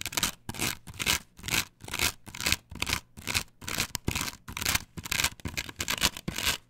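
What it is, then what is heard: Plastic stencil on wooden board, scratched with nails. Long pointed nails, with the hands clawed, scratch across a flat perforated plastic stencil template glued to a wooden board. Rapid back-and-forth strokes give a bright, hissing scrape in an uneven rhythm, with short silent gaps between strokes.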